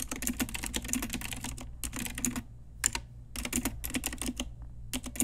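Long nails and fingertips type on an Ajazz pink retro typewriter-style mechanical keyboard with round plastic keycaps. Rapid, bright plastic clicks with a soft low thock run in quick bursts over a faint steady low hum. The typing pauses briefly twice before resuming.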